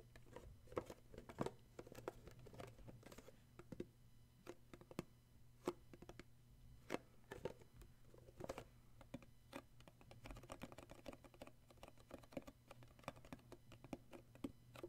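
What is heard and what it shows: A small, hollow, rectangular red cardboard gift box with an illustrated paper sleeve is held in the hands while fingertips tap and grip its top and sides. Quiet, dry, short taps come in quick, irregular bursts over a steady low hum, with soft papery scratching and crinkling as the fingers grip.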